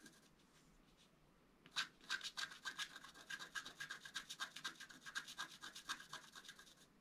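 A wooden stylus scratches repeated short strokes into the black coating of a flat scratch art card (black coated paper). After a quiet pause of nearly two seconds, a quick run of dry, bright scrapes follows at about four per second, each with a faint whistling tone near 1.5 kHz.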